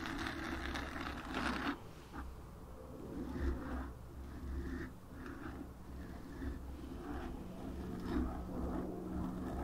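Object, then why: Foam microphone windscreen. Long nails and fingertips slowly scratch and rub the black foam windscreen on a desktop microphone. The result is a soft, muffled rustling with a deep low rumble underneath and little bright detail. It swells and fades in slow waves, with only a few distinct onsets.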